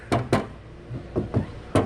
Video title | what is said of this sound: Genesis G80 ABNORMAL NOISE | you can hear that that there's some vibration there